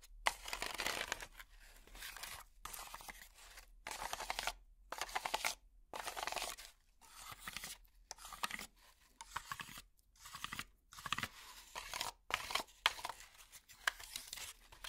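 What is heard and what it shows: A small block of brown honeycomb-cell cardboard packaging with hollow cells, held in one hand, is scratched with long plastic finger picks. Quick bursts of dry, bright scratching and crinkling come in short runs separated by brief silences. The sound is crisp and papery with almost no low end.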